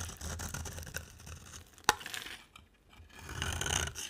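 A box cutter blade carves and scrapes curls from a solid pale green oval bar of dry soap held in the hand. Dry, crisp scraping and shaving sounds with bright upper texture are heard, with a sharp click near the middle, a brief quiet pause, and then louder scraping toward the end.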